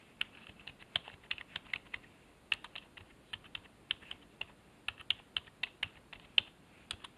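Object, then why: Plastic computer keyboard. A fingertip presses the arrow and numpad keys on a black plastic HP keyboard resting on a wooden desk. Around two dozen short, sharp plastic clicks come in an uneven typing rhythm, bright and crisp with almost no low end and no ring after each press.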